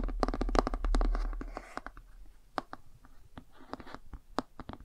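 Fingernails tap along the page edges and glossy cover of a cardboard board book. A dense flurry of short, dry clicks and scratchy rustling fills the first two seconds, then thins into sparser, crisp taps.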